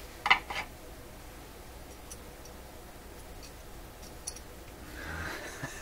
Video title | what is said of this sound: Rogers 11RA651 Shortwave Radio Video #14 - New Tubes In | That doesn't sound good at all.